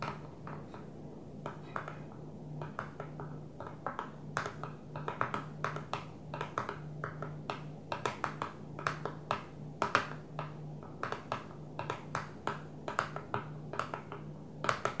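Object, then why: Plastic container lid. Fingernails on one hand tap a flat blue plastic container lid resting on a table, making dozens of quick, short clicks in an uneven rhythm. Each tap is dry and brief with a light plastic tone, over a faint steady low hum.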